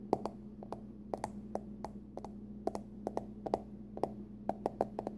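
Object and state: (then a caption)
Aluminum card wallet, hollow. Long nails tap and scratch the curved top of a small, closed, hollow hard-shell card wallet, likely aluminum, with a pumpkin print. About 19 short, dry, bright clicks come at an irregular pace, each dying away almost instantly, over a faint, steady low hum.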